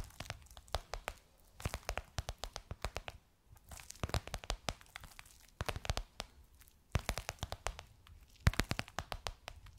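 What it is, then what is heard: Faux leather cushion cover tapped with nails. Long nails tap and scratch a gold crocodile-embossed faux leather pillowcase over a soft cushion. Bursts of quick, dry clicks and crinkly scratches come in clusters, each dying away almost at once, with brief quieter gaps between them.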